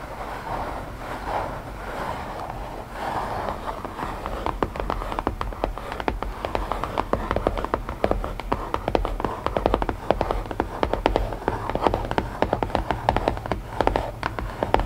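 Long painted nails tap and lightly scratch the lid of a closed, hollow, palm-sized white printed cardboard puzzle box. The first few seconds hold a soft, steady scratching. It then gives way to many quick, dry, hollow taps that die out almost instantly, over a low background hum.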